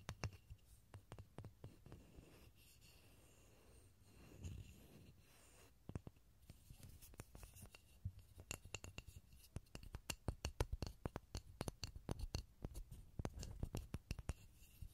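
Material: Pine wood.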